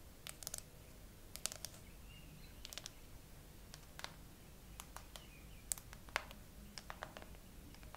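Long acrylic nails slowly tap, and fingertips brush, the flat frosted glass back of a gray iPhone with no case, set on a tripod. Short, sharp, bright clicks land at uneven intervals and die away almost instantly, over a quiet, steady low rumble.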